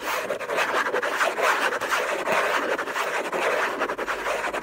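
Fingertips and short nails scratch the lid of a closed, long rectangular Hermès box of orange textured paper over cardboard (contents unknown), lying on a fluffy blanket, with the hand partly out of frame at the start. The result is a dense, continuous raspy scratching, centered in the midrange with almost no low end, pulsing with quick irregular strokes for the whole clip.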